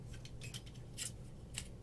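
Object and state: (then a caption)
Aluminum drop bar. A finger taps on the extended aluminum drop bar of a National Guard Products 229SSS surface-mount automatic stainless steel door bottom. Short, bright metallic ticks with very little ring sound over a low background hum.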